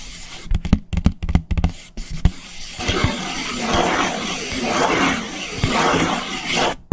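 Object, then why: Paper plate. A white paper plate held upside down is scratched on its underside with fingernails. The first couple of seconds bring a quick run of sharp, dry taps with low thumps. A steady, rough scratching hiss follows, with slow sweeping swells until it cuts off at the end.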